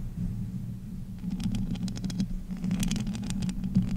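Long nails and fingertips scratch, tap and grip the bare, hollow metal mesh grille of a pink condenser microphone. A steady low hum runs throughout, and from about a second in, dense crisp scratches and ticks spread up into the bright range. The close, rustly tapping ends in a louder grip near the close.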